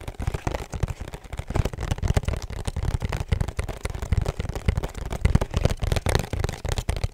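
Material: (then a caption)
Cardboard. A small, rigid, hollow pink cardboard perfume box with a black ribbon is held up and tapped rapidly with long nails. The result is a quick, continuous patter of dull, hollow, low thuds that stop almost instantly, with only faint crisp clicks on top.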